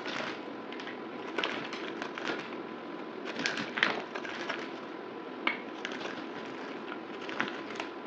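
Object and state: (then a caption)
Bar soap being shaved with a blade. A palm-sized solid black bar of soap, held in one hand, is shaved and cut with a yellow utility knife blade, the shavings piling up on the table, with the motion sped up. Soft, dry scraping and crackling runs throughout. Sharper crisp cuts snap through now and then, brightest around the middle of the clip.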